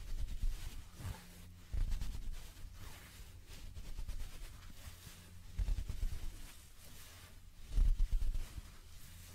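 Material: Nothing is struck.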